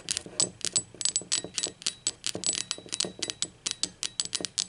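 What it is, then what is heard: Ceramic mug. Long pointed acrylic nails tap the body and base of a hollow, blue speckled ceramic mug held upside down and on its side. The result is a quick, uneven run of bright, sharp clicks, each with a brief high ring that fades almost at once.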